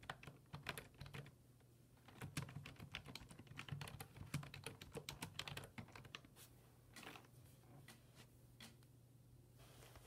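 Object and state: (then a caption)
Plastic computer keyboard. Fingertips type on a black plastic full-size desktop keyboard resting on a wooden desk, producing quick, bright key clicks over a steady low hum. The typing runs in busy bursts, then thins to a few scattered clicks as the hands leave the keys at the end.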